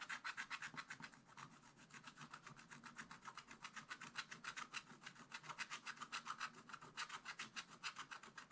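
A wooden stylus scratches a flat, black-coated scratch-art page in a spiral-bound book with rapid back-and-forth strokes. It makes a quiet, steady run of dry, raspy scrapes, bright and centered around 1.4 kHz, with little low end. The strokes pulse at a fast, fairly even rhythm for the whole clip.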